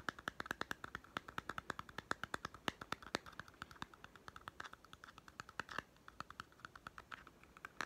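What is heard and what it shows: A small hollow plastic toy food tin with a white lid and label is held in one hand and tapped with fingertips and nails on its lid and sides. The result is a rapid, uneven run of dry, sharp clicks and taps with a bright, hollow plastic tone and no ring.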